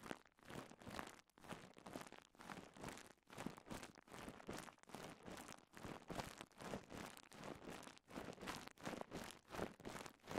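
A rolled strip of clear polyethylene bubble wrap is held in both hands while fingertips and thumbs pop and crinkle the bubbles. Quiet, dense bursts of crackling, crinkling plastic and small sharp pops come in rapid, rhythmic clusters with brief pauses between them. The sound is broad and dry, with a soft low body and bright crackle on top.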